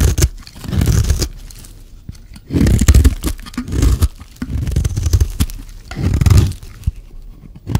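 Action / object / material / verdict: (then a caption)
scrape / bar of soap scraped by a metal blade / soap / none. A metal blade scrapes the edge of a solid, rectangular, dry white soap bar held in the hand, shaving off fine white curls. The strokes make dry, crunchy scraping and tearing sounds in repeated bursts, heavy in low rumble, with short quiet gaps between them.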